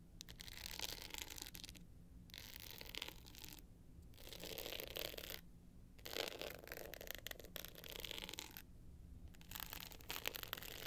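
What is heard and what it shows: Long nails rub and scratch the rough glitter surface of a hard-shell clutch with a metal frame lying flat. Dense, bright, gritty scratching comes in several bursts separated by brief pauses, over a steady low hum.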